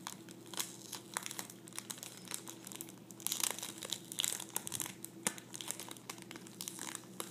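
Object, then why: Thin plastic sleeve holding folded tissue paper. A thin clear plastic sleeve holding folded tissue paper lies flat on a table and is pressed and pinched by fingertips and nails. It gives quiet, bright, crackling crinkles in dense bursts, with a few sharper snaps and a faint steady low hum underneath.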